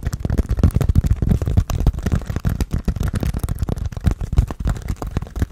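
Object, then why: Foam sponge with foam handle. Fingernails scratch and tap on a hand-sized grey textured foam sponge with a tan foam base, solid and porous, held in both hands. Dense, rapid, dull low thumps and soft scratches run continuously, each dying away almost instantly with no ring and little brightness.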